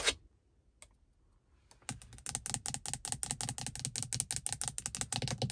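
Long pink acrylic nails tap and scratch a car's interior rearview mirror, a medium-sized, solid glass mirror in a black plastic housing. A sharp bright tap and a faint one are followed by quiet, then a steady rapid run of crisp, high clicking taps with little ring.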